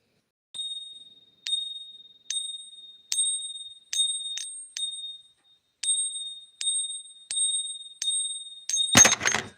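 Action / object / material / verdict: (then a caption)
flick / silver coin / 90% silver / none. A 90% silver coin is pinged repeatedly in a test against pure silver, giving about a dozen separate high, bell-like rings with a steady overtone around 3.5 kHz. Each ring fades within about a second, showing the coin rings clearly as expected for 90% silver. The clip ends with a short, broadband rattling clatter.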